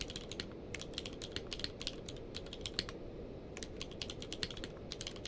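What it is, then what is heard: Plastic mechanical keyboard. Both hands type rapid fingertip key presses on a full-size mechanical keyboard with a blue-grey case and white and grey plastic keycaps, lying on a blanket. A dense run of short, bright clicks is heard over a steady low background hiss. The clicks pause briefly around the middle before resuming.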